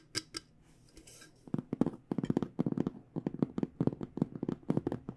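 Long nails tap a small, hollow hard microphone case with an aluminum frame and black panels. Two sharp, bright clicks open the clip, then a soft brushing pause, followed by a rapid, uneven flurry of dry taps with a hollow low-mid knock. Each tap dies almost instantly.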